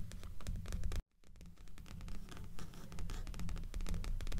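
Long nails on both hands scratch the cover of a dark-covered, solid-paper paperback resting on top of a stack of books. The rapid, uneven scratching is heavy in the low end, with a brief silent break about a second in before it resumes.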